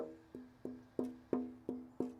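A held classical guitar top with Miguel Rodriguez style bracing is gently tapped six times with the felt piano-hammer end of a homemade tap tone hammer, a safe way to tap without denting the top with a fingernail. Each tap gives a short, woody knock with a clear tone around 250 Hz and faint higher overtones, dying away quickly between the evenly spaced hits.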